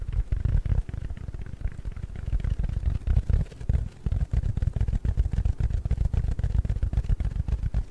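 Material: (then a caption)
Foam. A round, palm-sized yellow porous foam sponge is scratched with fingertips and nails. The result is a dense run of quick, muffled scratching and thumping, almost entirely low and dull with nothing bright. It keeps up for the whole clip, with a brief dip a little before the midpoint.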